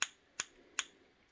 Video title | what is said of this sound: The worst Disney Mickey Mouse Watch I've owned, and for several reasons | you can hear how thin this is